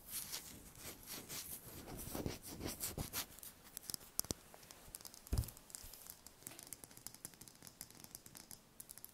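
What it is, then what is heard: Brown chicken eggshell. Long nails tap and scratch quickly across a small, whole brown chicken eggshell. Rough, bright scratching rasps fill the first half, then give way to crisp, sharp clicks with one heavier knock near the middle. Each tap stops almost instantly, with a quiet hiss between them.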